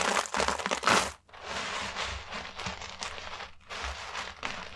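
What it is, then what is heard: Dry soap flakes. Bare hands with long manicured nails scoop, rub and stir a large pile of small, thin, dry yellow and green soap shavings, then press fingertips into it. Dense, bright crunching and crinkling comes in bursts, loudest in the first second, with a brief quiet gap before steadier rustling follows.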